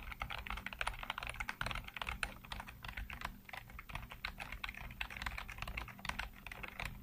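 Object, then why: Plastic computer keyboard. Fingertips rapidly tap and type on a full-size black plastic computer keyboard with hollow keycaps. The result is a fast, steady stream of short, crisp clacks with bright attacks that die away almost instantly, over a faint low hum.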